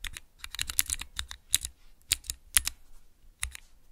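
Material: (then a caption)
Plastic. Fingertips press the keys of a small, clear plastic 3x3 Cherry MX key switch tester. The result is an irregular run of short, bright, crisp clicks with a faint low thud under some presses. Each click is dry and dies away almost at once.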